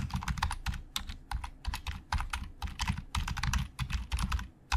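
Fingertips type fast on a black plastic Logitech keyboard with hollow plastic keys. A rapid, uneven run of short, dry keystroke clicks carries a bright clatter over a dull low thump. Each tap dies away almost instantly.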